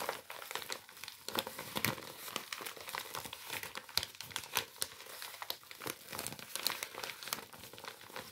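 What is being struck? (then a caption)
Paper bag. A white paper bag with a printed circular logo is held up while hands crumple and rub the paper. The result is a steady, bright crinkling with dense overlapping snaps and rustles across the clip, with almost no low end.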